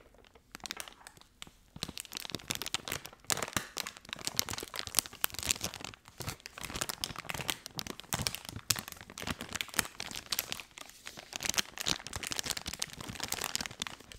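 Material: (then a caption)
Soft plastic. A full blue soft plastic wet wipes pack is held in one hand while the other hand's fingertips crinkle and scratch its film. Dense, bright crackling and rustling come in continuous bursts with a few brief pauses, with little low-end weight.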